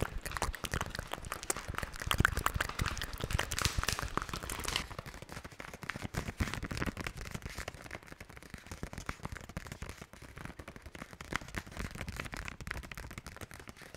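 Long nails tap, scratch and crinkle a small plastic and foil pouch of value sponges, with the sponges still inside, held close to the mic. A dense run of sharp crackles and rustling fills the clip, brightest and loudest in the first five seconds, then settling into quieter, steady scratching and tapping.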